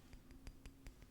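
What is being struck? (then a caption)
Ceramic coaster. A ceramic mushroom coaster meant for a desk is tapped in a quick series, giving soft, short glassy clinks that die away almost at once over a low background hum.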